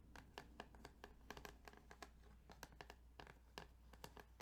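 Quiet tapping and scratching on the plastic ridges of a Tetris Game Boy cartridge. A rapid series of short, dry clicks with bright, crisp edges sits over a steady low hum.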